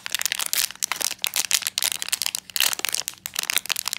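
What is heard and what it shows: A small, closed, full black metallized plastic foil blind bag holding an enamel pin is held in both hands and crinkled, squeezed and torn open with the fingertips. Dense bursts of bright, dry crinkling and crackling come in quick irregular clusters, with almost no low end and no ringing after each burst.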